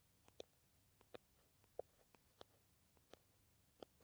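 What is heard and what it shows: Long nails tap and scratch along the body of a small green plastic squeeze tube of Kamill hand cream, held upright and looking filled and flexible. About eleven short, dry, irregular clicks sound at a low level, each stopping almost instantly.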